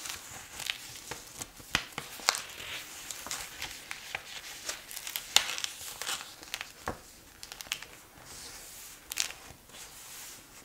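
Fingertips turn and rustle the paper pages of a thick bound paper check register (ledger) lying open on a cloth tablecloth, then smooth a page flat by hand. The sound is soft, crisp and bright: irregular paper crinkles and rustles with sharp little flicks, and almost no low end.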